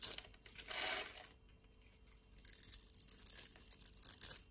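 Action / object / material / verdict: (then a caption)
scrape / bar of soap / soap / none. A utility knife blade scrapes across a solid, hand-sized, grid-scored blue dry soap bar held in the palm, crumbling small soap cubes off it. The sound is a bright, crisp scraping and crumbling, with a sustained rasp near the start, a quieter stretch, then a run of short crackly scrapes.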